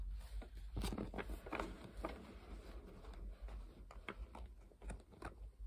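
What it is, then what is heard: Deck of playing cards tapped and scratched. A full deck of coated paper Uno playing cards, a small solid stack, is held in the hands while long painted nails scratch and tap its edges. Quiet, irregular clicking taps and brief dry scratches sound over a low steady hum, each tap fading quickly.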